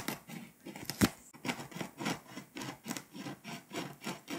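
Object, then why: Foil-coated paper scratch-off map. A pink scraper rubs and scratches the foil coating off a flat, foil-coated paper scratch-off map, leaving foil shavings piling up. Steady, rhythmic rasping strokes follow one another, each a short, bright, gritty scrape, with one sharper, louder scrape near the one-second mark.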